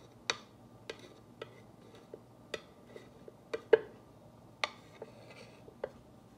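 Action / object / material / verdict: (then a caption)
tap / painted wooden plaque tapped with a glass rod tool / wood / none. A clear glass or acrylic rod tool with a ball tip, held in a hand with long nails, traces and taps over the white lettering of a solid, flat, black-painted wooden or MDF wall plaque with glitter stars lying on a table. Sparse, irregular, dry clicks stand out over quiet background hiss; each tap is very short with a bright edge and a faint mid-pitched knock that dies away almost at once. Between the taps, faint soft scraping from the tracing can be heard.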